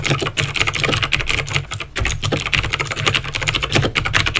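Fingertips type rapidly on a backlit plastic mechanical keyboard with clicky green switches. Bright, sharp clicks come in quick, dense succession over a steady low hum, with brief pauses between bursts of keystrokes.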